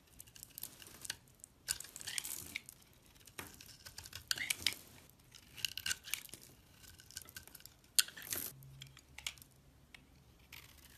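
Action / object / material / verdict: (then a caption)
scrape / glycerin soap bar cut with a metal blade / glycerin soap / none. A metal craft blade shaves and scrapes a solid, hand-sized, translucent amber glycerin soap bar held in the palm, cutting crisp flakes and curls. Quiet, bright, crackly scraping and crisp snapping strokes come in irregular bursts over a soft background.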